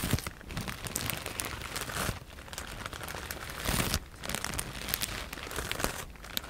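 A medium-size clear plastic E-PACK bag, soft and full of white polyethylene foam cushioning pieces, is held in both hands and scratched and squeezed with long painted nails. It makes a continuous crinkling and crackling with dense bright ticks over a low rustle. Louder crunchy bursts come around the two- and four-second marks.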